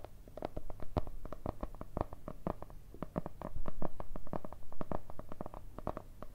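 Long red nails tap rapidly on the cardboard cover of a marble-effect hardcover paper notebook held up close to the microphones. The result is a quick, irregular stream of short, dry, hollow knocks with a low thud and almost no ring, growing louder in the middle.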